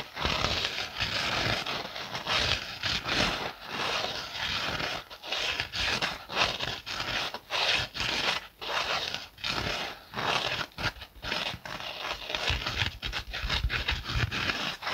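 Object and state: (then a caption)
Scouring pad scratched with fingernails. A kitchen sponge held in the hand has its green abrasive scouring side scratched with fingernails. The result is a steady run of dry, bright, rasping scratches in short bursts with brief gaps between them, sounding crackly and crinkly.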